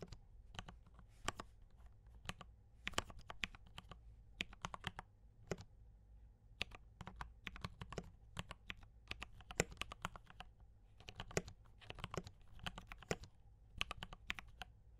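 Both hands type steadily with their fingertips on a compact D84 mechanical keyboard with brown switches and cream and red plastic keycaps. Quick, short keystroke clacks come in uneven bursts and spread from a low thock to a bright click, each dying out almost instantly. A faint steady low hum sits underneath.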